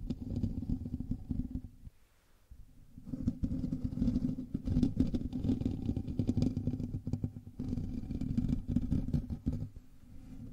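Fingertips and nails of both hands scratch the hollow metal mesh grille of a black USB microphone, making a dense, rumbling scratch that sits mostly in the low range. The scratching runs almost continuously, with a short lull near two seconds and brief dips later, and the grille picks up each stroke as a thick, close, muffled rasp.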